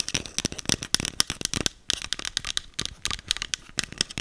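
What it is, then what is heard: Plastic spray bottle. A small green plastic setting spray bottle with a clear cap is held in the hand and rapidly tapped and scratched with long acrylic nails. The result is a fast, uneven stream of dry, bright clicks and scratchy rattles with almost no ring, separated by brief quiet gaps.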